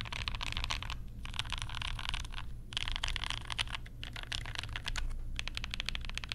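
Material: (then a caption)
Plastic. Fingertips type on a compact mechanical keyboard with Banana Splits switches and pastel plastic keycaps, using one or both hands. The result is a rapid, continuous stream of bright, clacky keystrokes with brief pauses, over a steady low hum.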